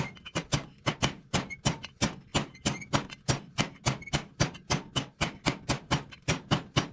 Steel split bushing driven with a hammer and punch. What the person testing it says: that dead sound when you're hitting it with a punch